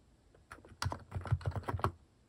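Fingertips type on a compact mechanical keyboard fitted with cat-shaped plastic keycaps, producing a quick run of about eight short, deep, thocky keystrokes with brief bright clicks on top. Each press dies away almost instantly.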